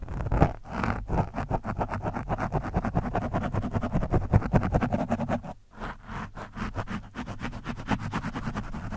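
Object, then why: Foam microphone windscreen. A screwdriver tip scratches an orange foam windscreen on a microphone. The result is a steady run of quick, rough scraping strokes that sound muffled and heavy in the low end, like rumbling rubs. There is a brief pause a little past the midpoint before the scratching resumes.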